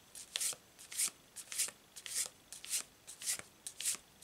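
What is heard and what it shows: A hand-sized deck of glossy printed cardstock tarot cards with dark starry backs and a triple-moon symbol is overhand-shuffled by both hands above a cloth-covered table, the deck split into two stacks. The cards slide and flick against each other in a steady rhythm of quiet, bright, papery swishes and crisp flicks with no low end. Each burst stops almost at once into near silence.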